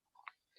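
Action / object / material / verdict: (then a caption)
knock / rope monkey fist knot with steel ball core / steel, rope / none. A rope monkey fist knot with a steel ball core is knocked down onto a surface. It gives three short, hard knocks in quick succession, the middle one loudest, with sharp, dry clicks and almost no ring.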